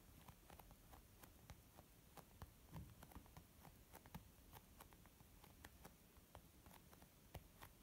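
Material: Leather.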